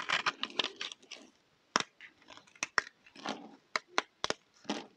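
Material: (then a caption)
Soap. A solid round pink bar of dry soap is held in the hand and scraped with a utility knife blade into crunchy flakes. Short, dry crunching and crackling scrapes come in quick, uneven bursts with bright, crisp edges and almost no low end. Each scrape stops abruptly with no ring.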